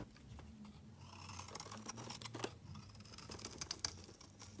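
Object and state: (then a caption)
Bar soap being shaved. A palm-sized, solid rectangular blue soap bar is held in the hand and scraped with a flat metal blade, shaving off flaky curls. The sound is quiet, dry scraping with a steady run of crisp, bright ticks and short crackles over a faint low hum.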